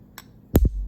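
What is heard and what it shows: A spoon taps the wide end of a raw chicken egg three times: one faint high click followed by two deep, dull knocks. The taps pop the air cell inside while the shell stays uncracked; tapping too hard would crack it.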